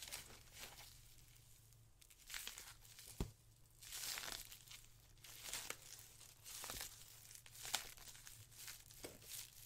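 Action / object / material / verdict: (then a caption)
scrape / polyethylene foam packaging sheet / polyethylene foam / none. A white polyethylene foam packaging sheet is twisted into a rope, then squeezed and crumpled with the fingers. Bursts of bright, hissy crinkling and rustling come and go, punctuated by a few sharp crackling clicks. A faint steady low hum runs underneath throughout.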